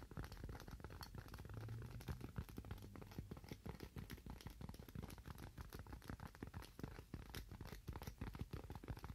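A thin, slightly curved white styrofoam sheet held in both hands is tapped and scratched with fingernails. The result is a dense, steady stream of quick, dry taps and crinkly scratches with a soft, low-heavy body and almost no ring after each hit.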